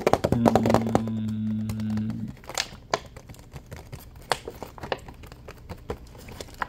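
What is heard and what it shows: Fingernails tap quickly and unevenly on the ridged sides of a clear, partly full plastic water bottle, making sharp, dry clicks, while the bottle is squeezed so it crinkles. A low, steady hum sounds under the first two seconds, then the taps and crinkles continue more sparsely.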